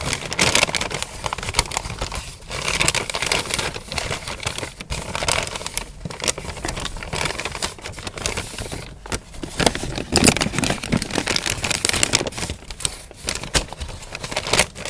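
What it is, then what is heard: Paper bag crinkled. A medium-sized, empty brown kraft paper fast-food bag with a green print is held in both hands and crinkled and rubbed with the fingers. The result is a steady, bright crackling and crinkling rustle, broken by brief quiet gaps between handfuls.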